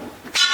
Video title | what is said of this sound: Gold mine in Bendigo, Australia. ඕස්ට්‍රේලියාවේ බෙන්ඩිගෝ හි රන් ආකරය.. | really strong like a bell means this part is really stable